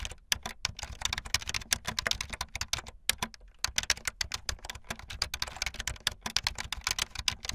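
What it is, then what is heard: Plastic membrane keyboard. Fast typing on a full-size, backlit plastic Bluetooth membrane keyboard with white and blue plastic keycaps and a hollow plastic body, with keys pressed by fingertips and the tips of long painted nails. A rapid, steady stream of dry, bright plastic clicks and taps is heard, each dying away almost instantly, with a short pause near the three-second mark.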